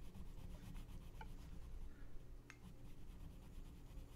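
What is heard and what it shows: A gloved hand rubs a colored pencil back and forth on the thin page of an open paper coloring book lying flat on a checked cloth, shading the center of a mandala. The result is a quiet, steady, low rubbing with a faint papery scratch and a couple of brief brighter ticks.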